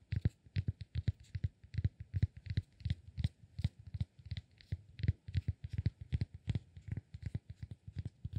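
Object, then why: Cork block. Fingertips tap rapidly and unevenly on a solid cork block held in the palm, producing a steady run of dozens of soft, dull, low thuds. Each tap is short and dies away almost instantly, with only a faint, light tick on top.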